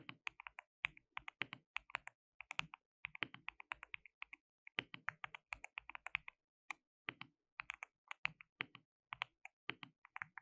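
Both hands type continuously with their fingertips on a compact, white-cased mechanical keyboard with a hollow case, white and pink plastic keycaps, and RGB backlighting. About 60 quiet, sharp keystrokes come in an uneven rhythm with brief pauses. Each is a bright, clacky click centered near 2.5 kHz that dies away almost instantly, with almost no low end.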